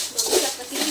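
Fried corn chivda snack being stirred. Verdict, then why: Crisp. Fried corn chivda is mixed with a spice mix, giving a dry, crackling rustle with bright, high crunch. The crunchy sound shows the snack is crisp.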